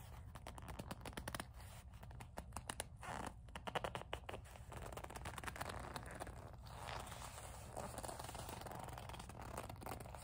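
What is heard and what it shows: Long nails grip, squeeze and scratch the leather of a small black leather coin purse with a metal kiss-lock. The result is a quiet, steady stream of dry, crackly scratching and scraping, with brief bursts of rapid rubbing over a low background rumble.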